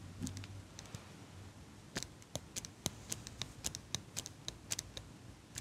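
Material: Metal.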